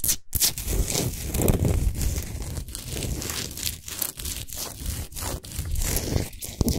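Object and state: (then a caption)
Himalayan salt globe lamp. Long nails on both hands scratch the sides of a large, solid Himalayan salt sphere lamp lit from inside. The result is a fast, continuous, gritty rasp with crackly, bright detail over a heavy low rumble, broken by a few brief pauses.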